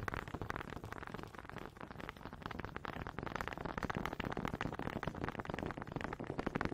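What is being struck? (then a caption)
Wooden honey dipper. Long pink nails quickly tap and scratch the ridges of a small, solid wooden honey dipper with a ridged head, held in front of the mic. The result is a dense, steady stream of fast, dry, crackling clicks and scrapes with almost no ring, full in the low and middle range and dull at the top.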